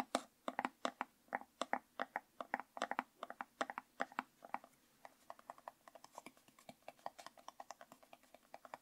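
Fingernails tap and scratch the orange screw lid and sides of a hollow, medium orange plastic jar with a yellow label, held in both hands. Dozens of quick, dry, clicky taps sound out with a mid-pitched hollow tone and no ring. The taps start louder and more spaced, then turn softer and faster in the second half.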